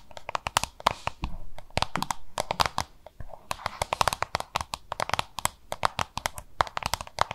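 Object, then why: Plastic lunch box. Long nails tap and scratch a small, hollow, oval yellow-green plastic lunch box, giving dozens of quick, sharp, dry clicks with a hollow plastic tone around 1 kHz. Short stretches of rough scratching run between the taps, and each click stops instantly with no ring.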